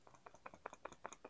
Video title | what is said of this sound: ASMR test out the everlasting pencil with me (soft-spoken, tapping, paper & writing sounds) | you can hear the Eraser move around in there